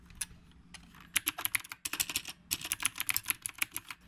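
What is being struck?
Mechanical keyboard with round plastic keycaps.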